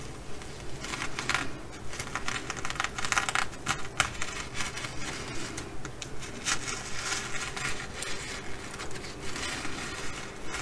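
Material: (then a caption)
Sequins. Long acrylic nails scratch and brush across a blue and bronze flip-sequin fabric bag, flipping the sequins over to their bronze side. The result is a steady, irregular run of dry, crinkly scratching and bright rustling strokes over a low background rumble, with short bursts that die away almost instantly.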